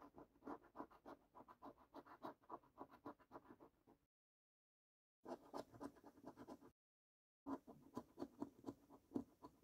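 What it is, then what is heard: Paper scratch card being scratched. A coin scrapes the latex panels of the top paper scratch card in a small stack on a wooden table. Quick, rasping strokes repeat at roughly four per second in three bursts separated by two short silences, with a gritty mid-range texture and no ring after each stroke.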